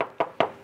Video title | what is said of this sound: Best Bang for the Buck? // 2021 Toyota 4Runner Trail Edition Review | the muffler is so quiet even when you knock on it